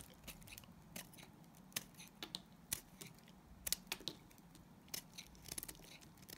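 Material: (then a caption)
Glycerin soap. A solid, translucent green glycerin soap bar held in the hand is shaved with a utility knife blade. Short, crisp, bright scraping clicks come at irregular intervals over a quiet, low background hum, each cut snapping off almost instantly.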